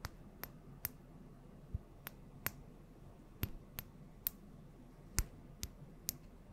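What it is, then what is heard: Small glass oil bottle. Long nails tap slowly on a small glass bottle filled with yellow oil and on its gold cap, close to the mic. Eleven short, bright, clicky taps come at uneven intervals, each stopping almost at once, over a quiet low hiss.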